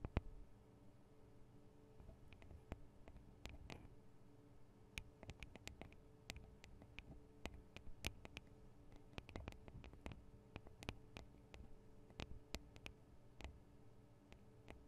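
Long painted acrylic nails tap the small hollow metal microphone capsules and their metal guard wings on a Tascam DR-40 recorder. Quiet, sharp clicks land in an irregular, steady run, each dying away almost instantly with a bright metallic edge. A low, steady hum sits underneath.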